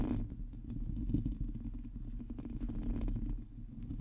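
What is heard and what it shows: Long teal nails on both hands scratch a hollow metal mesh microphone grille. The result is a steady, muffled, low rumbling scrape with dense crackly texture and almost no high end.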